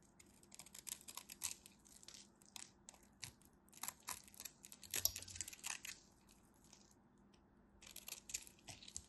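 A craft knife blade cuts through a solid white scored bar of soap, and crumbly chips break off. Quick bursts of dry, bright scraping and crackling come in irregular clusters, pausing briefly before resuming, over a faint low hum.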